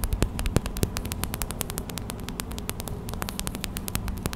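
Fast tapping with long white acrylic nails on a small clear plastic pouch filled with white gel beads, a hot/cold pack, produces a rapid stream of short, dry, bright clicks. The clicks sit over a steady low hum.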